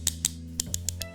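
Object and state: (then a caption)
Loose, rattly folding knife. A lightweight Spyderco Stretch 2 XL folding knife is tapped six times, giving short, sharp, high-pitched click-clack rattles over a steady low hum. The loose, rattly sound makes the knife feel flimsy, and the tapping knocks the blade off-center.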